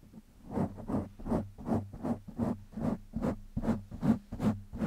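Fingertips scratch a black foam windscreen on a microphone in a steady, rhythmic pattern. Each stroke gives a soft, rough, bursting scratch over a faint, constant low hum.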